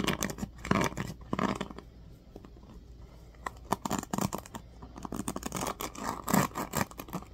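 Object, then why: Plastic paddle hairbrush with pins. Fingertips scratch the teal-tipped pins of a black plastic oval paddle hairbrush and rub its smooth plastic back. Bursts of dry, crackling scratches and soft rubbing come in quick flurries, ease into a quieter stretch in the middle, then pick up again with sharper clicks toward the end.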